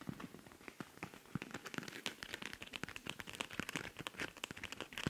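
Long nails scratch quickly across the surface of a silver rhinestone-covered cosmetic pouch with a pink zipper. The result is a dense stream of short, bright crackling clicks and scrapes that die away almost instantly.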